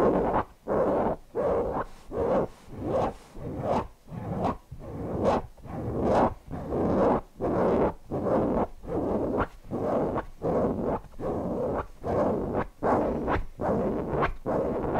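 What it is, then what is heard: Cotton fabric cushion being scratched. Fingertips scratch the lower fabric body of a stuffed cotton owl cushion in repeated strokes at a roughly steady rhythm, with short silent gaps between them. Each stroke is a soft, breathy scratching rustle centred in the mids.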